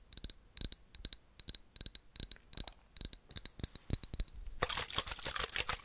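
Fingertips and nails tap and scratch the sides of a medium, hollow, opaque black plastic bottle with a white screw cap, held in both hands beside the microphone. Clusters of quick, dry, bright clicking taps with very short ring come in uneven bursts. In the last second and a half they give way to a denser, continuous hissing scratch.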